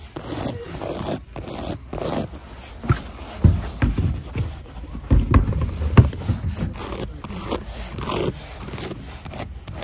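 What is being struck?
Leather loafer.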